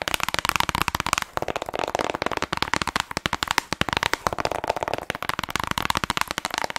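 Long acrylic nails rapidly tap and scratch the front and back of a small hollow plastic Nintendo Switch game case with a Zelda cover, apparently still shrink-wrapped, held close to the mic. The result is a dense stream of dry, crisp clicks and scratchy rustles, bright and crackly, with no ring after each tap and a brief lull just after one second.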